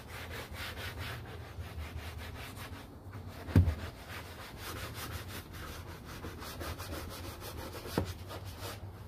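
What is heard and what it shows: A gloved hand scrubs the foam-covered, large hollow molded plastic interior door panel of a Honda Pilot back and forth with a stiff-bristle detailing brush. Steady, rhythmic bristly rubbing strokes ride over a low, hollow rumble from the panel, with a sharper knock from the brush against the plastic partway through.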